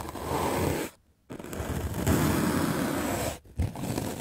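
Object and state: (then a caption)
Melamine foam sponge being brushed. A medium black-bristle paint brush scrubs aggressively across a white rectangular magic eraser block of solid melamine foam held in the hand. It makes a dense, rough scratching and scraping sound with a low, full body. The scrubbing comes in three sustained bursts separated by two brief pauses.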